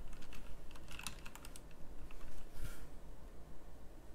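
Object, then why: Mechanical keyboard with plastic keycaps. Fingertips type on a full-size pink mechanical typewriter-style keyboard with round plastic keycaps, producing quick, bright, clicky taps at an uneven rhythm. Each click dies away almost at once, with a steady low hum running underneath.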